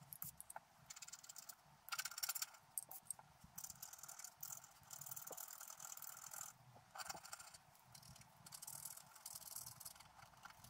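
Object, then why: Black-coated scratch art paper card scratched with a wooden stylus. A wooden stylus scratches the coating of a flat, thin, black-coated scratch art paper card in short strokes while the other hand steadies the card. The sound is a quiet, bright, dry scraping in bursts of varying strength, with almost no low end and no ring after each stroke.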